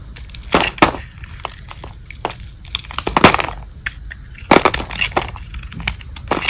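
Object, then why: Bar of soap scraped with a metal blade. A solid, hand-sized, light-blue bar of dry Old Spice soap with a painted teal and glitter face is held in the palm and shaved and scraped with a metal blade. Sharp, dry crunching and crackling cuts come in irregular bursts of bright, brittle snaps. Crunchy flakes break off onto the table.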